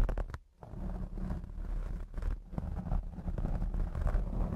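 Long blue acrylic nails of both hands scratch the black foam windscreen on a Blue Yeti X microphone. The result is a dense, muffled, low rumbling scrape with almost no high end, continuous apart from a brief pause near the start.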